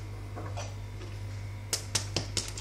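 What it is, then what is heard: Crispy baked cheese pastries. Freshly baked banichki (cheese pastries), well browned and still very warm right out of the oven, are tapped to show how crispy they are. A few soft crackles are followed by four sharp, dry, crisp taps over a steady low hum.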